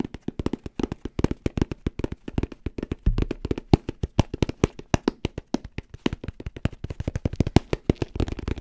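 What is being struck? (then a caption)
Fabric-covered hard-shell headphone case. Fingertips and nails tap fast on a hollow, black, rounded, fabric-covered hard-shell headphone case held near the mic. About 61 quick, dull, low-pitched taps sound in a rapid, uneven rhythm. Each tap stops almost instantly with no ring.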